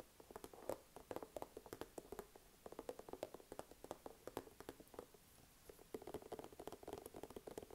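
A small, soft plastic skincare squeeze tube, held upright in one hand, is tapped and scratched with fingertips and short nails. The result is a quiet, rapid series of short, dry taps and scratchy ticks with a hollow plastic tone around 520 Hz. There are brief pauses between bursts.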